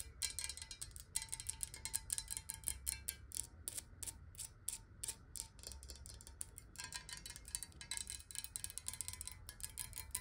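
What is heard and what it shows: Long nails rapidly tap a clear square glass water bottle filled with water and held in the hands. The result is a dense stream of quick, bright clicks over a faint, steady ringing tone and a soft low rumble, each tap decaying almost instantly.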